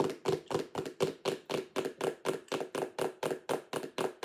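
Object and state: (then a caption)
Plastic storage box. Long acrylic nails tap rapidly on the lid and sides of a clear plastic lidded sensory bin box with contents inside. The result is a steady stream of quick, hollow plastic clicks, about four per second, each a short bright burst centered near 375 Hz that dies away quickly.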